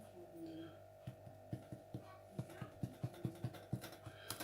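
The bottom of a freshly baked sourdough loaf is tapped 11 times, giving short, dull, low thumps with a hollow tone and almost no ring. The hollow sound shows the bread is baked through and done.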